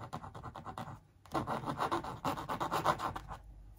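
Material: Canvas.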